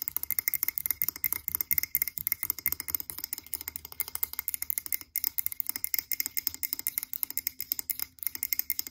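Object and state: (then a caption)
Glass candle jar. Long pink acrylic nails tap rapidly on the sides of a tall frosted blue glass candle jar held upright in both hands. The taps come as a dense stream of sharp, bright clicks with almost no ring, broken by brief gaps near the fifth and eighth seconds.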